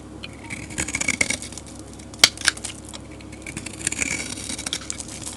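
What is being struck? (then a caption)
Bar of soap scraped with a metal blade. A metal blade scrapes flakes off the face of a solid, dark grey rectangular soap bar. The result is a bright, dry, crackling scrape with quick rustling strokes and two sharper, louder clicks in the middle.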